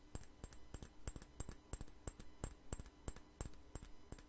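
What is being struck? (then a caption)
Small glass perfume bottle. A small, clear glass perfume bottle with a white flower cap, partly filled, is held in the hands and tapped with fingernails. The result is a quiet, irregular run of sharp, short clicks with a faint bright glassy ping on top and almost no ring after each tap.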